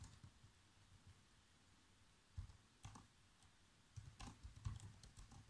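Fingertips press the black plastic keys of a laptop keyboard, giving about ten soft, scattered typing taps. Each tap is a quiet, short, low thud with a faint bright click on top and almost no ring, separated by near silence.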